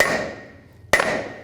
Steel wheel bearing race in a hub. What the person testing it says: when you're tapping it you'll get a different sound and then you know it's all the way down